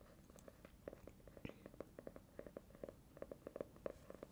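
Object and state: Hardcover notebook (nail tapping).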